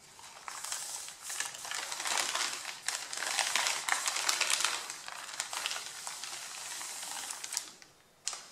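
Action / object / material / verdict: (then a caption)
scrape / stack of thin paper sheets / paper / none. Hands crush and rub the top sheet of a pile of thin white printed paper, creasing it. Bright, dense crinkling and rubbing noise comes in uneven bursts, with fast crackles on top and almost no low end. It fades near the end, then one sharp crinkle sounds at the close.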